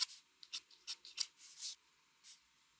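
A mechanical pencil, held steady, makes small scratching strokes on a flat white drawing paper sheet. The result is a series of quiet, bright, dry scratches in short separated bursts, with almost no low end, and a pause before a final stroke.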